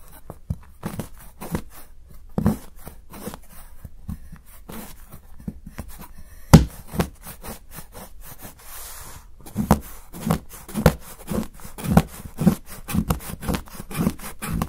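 A steel kitchen knife shaves the edge of a solid milk chocolate bar held down by fingers, making repeated short, dry scraping strokes. Each stroke is a brief crisp scrape with a soft, low-weighted body and almost no ring. The strokes come in an irregular run and grow louder and more regular toward the end.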